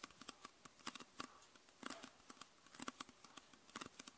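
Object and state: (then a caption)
Plastic soda bottle. Long nails tap the lower plastic and red label area of a clear, hollow, mostly empty PET Coca-Cola soda bottle. About two dozen quiet, crisp plastic clicks come in a quick, uneven patter. Each tap is bright and dry and dies away at once with no ring.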